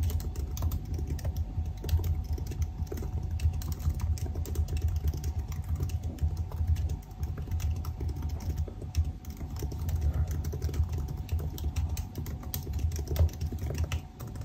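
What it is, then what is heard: Laptop keyboard being typed on. Fingertips of both hands type continuously on the black plastic keys of a silver aluminium laptop keyboard. The result is a steady, dense stream of short, dull key clicks with a heavy low thump and very little bright content, running without pause for the whole clip.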